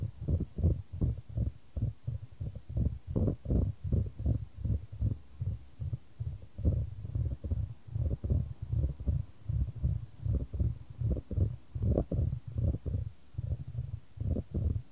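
A solid, light wooden ball is rolled around a shallow square wooden tray held in white-gloved hands, with the tray tilted to send it along. The ball makes about 35 short, dull, low knocks as it strikes the tray, in a loose, uneven rhythm of a bit over one per second. Each knock dies away almost at once, with no bright ring.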